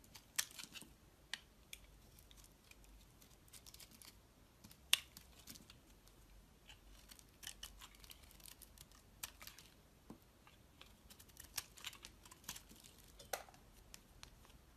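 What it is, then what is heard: Bar of soap being shaved with a blade. A solid oval bar of soap, green inside with a dark blue outer layer, is held in the hand and sliced and shaved with a utility-knife blade, piling green shavings below. Quiet, crisp, bright cuts and scrapes come at an irregular pace over a soft hiss, with one sharper snap near the middle.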